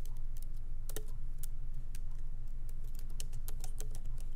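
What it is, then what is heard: Laptop keyboard typing. Fingertips of both hands lightly type on a MacBook Pro laptop keyboard with black plastic keycaps in an aluminum body, resting on a wooden desk. Quick, bright key taps patter at an uneven pace over a steady low hum.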